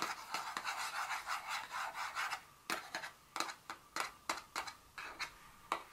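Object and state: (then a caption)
Paperboard perfume box. Very long fingernails tap and scratch the top of a small, hollow, rectangular printed paperboard Dior fragrance box lying flat on a stone surface. A quick run of bright, papery scratching with a hollow midrange tone gives way to sharp, crisp taps spaced apart. Each tap dies away almost at once.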